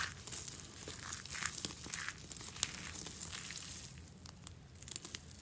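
Hollow curled shavings of dry green soap are scooped in both palms and crumbled between the fingers. The result is a steady, dense crackling and crunching, mostly bright, with sharp dry snaps poking out above the rustle.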